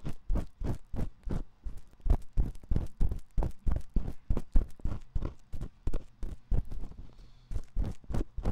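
A metal ear pick scratches the canal opening of a dim white silicone ear on a 3Dio binaural microphone. The result is a fast, uneven series of short, dull, deep scraping thumps, with almost no high or bright content, and a brief lull just before 7 seconds.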